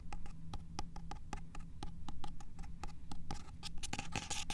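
A fingernail taps and scratches across the solid card back cover of the paperback "In Cold Blood" standing on a shelf, and fingertips brush over it. Quick, dry clicks come in a steady stream over a low hum, with denser, brighter scratching toward the end.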